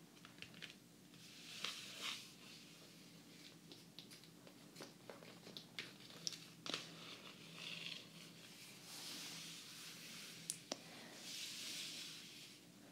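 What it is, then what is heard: Hardcover book with glossy cover. A closed hardcover book with a glossy laminated cardboard cover lies flat while fingertips and long nails tap and lightly rub and scratch across its surface. Quiet, bright crinkly scratching swells in and out, broken by sharp dry nail taps that die away at once over a faint low hum.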